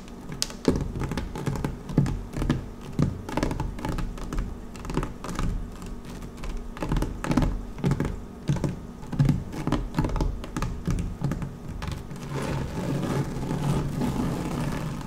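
Long manicured nails and fingertips of both hands scratch and tap a thin, textured dark woven vinyl (PVC mesh) placemat lying flat on a white table. Quick, dull, low-pitched taps come in uneven bursts with little high-end brightness, and the last few seconds shift into a denser, steadier scratching rustle.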